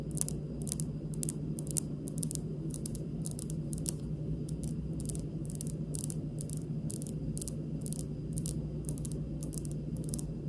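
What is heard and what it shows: Long pink acrylic nails on both hands lightly tap and scratch a large, solid, speckled granite kitchen countertop. Crisp, bright clicks with almost no ring come in a slow, uneven rhythm over a steady low hum.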